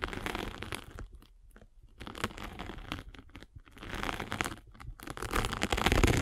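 A derma roller with metal needles is rolled over a hand-held sanding sponge with a gray abrasive face and blue foam, making dense crunchy, crackling, scratchy sounds. The texture comes in bursts with brief quieter gaps near 1.5 and 3.5 seconds, then grows louder and fuller toward the end.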